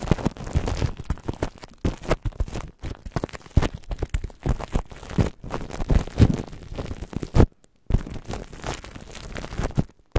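Clear plastic cling film stretched over a microphone grille is rubbed and scratched by the fingertips and nails of both hands. The result is a dense, close crinkling and scraping, heavy and rumbling in the lows with bursts of crackle, broken by brief silent gaps.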